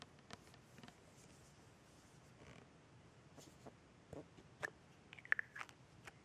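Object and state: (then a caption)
Plastic bottle tapped and scratched with fingernails. Long red painted nails tap and scratch the paper label and white ribbed screw cap of a tall plastic rosewater bottle that is held in the hand and appears filled. Soft, quiet scratching and light tapping run throughout, with a few sharper, brighter clicks toward the end, one carrying a brief ringing ping around 1.7 kHz.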